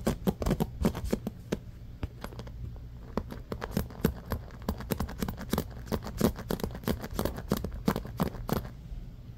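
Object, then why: Bamboo paddle hairbrush with rubber cushion and pins. Fingertips rapidly scratch and press into the pins of a bamboo paddle hairbrush with a black rubber cushion as it lies on a blanket. Dense bursts of short, sharp clicks and scratches come in quick, uneven succession over a steady low hum, each snapping off almost instantly.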